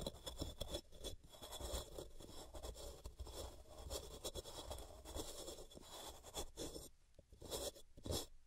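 A large, solid white gym chalk block (magnesium carbonate) is scratched repeatedly with long fingernails across its top face and edges, as powder piles up around it on a cork mat. Dense, dry scraping and scratching runs almost continuously with bright, gritty hiss and a low rumble underneath. It briefly thins out near the end before a few sharper scratches return.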